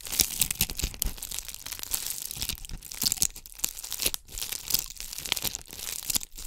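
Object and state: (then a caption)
Bugle-bead covered ornament ball. Long acrylic nails scratch over a palm-sized ornament ball covered in bugle beads, held in both hands. The result is a dense, bright, crinkly scratching and clicking that runs steadily, with quick sharp ticks and brief dips as the nails move across the beaded surface.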